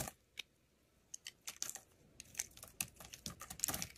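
A steel utility-knife blade scrapes and shaves thin curls off the surface of a solid, hand-sized blue oval bar of soap held in the hand. Crisp, bright scratching strokes come sparsely at first, then crowd together into a quicker run of short, dry shaving sounds with almost no low end.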